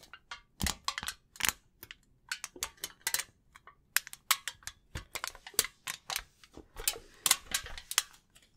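A thin, crumpled sheet of silver aluminium foil is held in both hands in front of a microphone while the fingertips crinkle and rub it. The result is a quick, irregular series of sharp, bright crackles and crisp rustles that stop almost instantly, with little low end.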